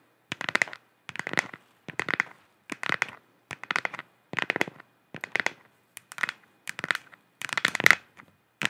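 Long nails tap and scratch a hollow, galaxy-printed plastic moon lamp sphere in repeated short bursts of quick clicks and scrapes, separated by brief silences. The sound is dry and bright, centered in the upper mids around 2 kHz with almost no low end.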